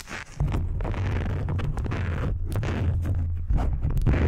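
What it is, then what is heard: Silicone facial cleansing brush. Long acrylic nails scratch across the nubbed bristle surface of a small, round, blue silicone facial cleansing pad, solid and flexible and held in both hands. A steady, dense, low rumbling scrape runs almost without pause, with brief bright flicks of texture over a deep, muffled body.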